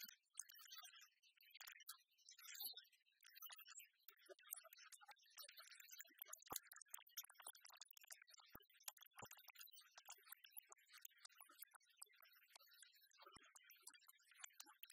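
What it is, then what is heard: Oversized plastic pen with rubber grip. Long fingernails tap and scratch along the black textured rubber grip and silver plastic clip of an oversized plastic pen held in the hand. A fast, steady run of dry, bright clicks mixes with scratchy rasps, each tap short with almost no ring and little low end, over a quiet background.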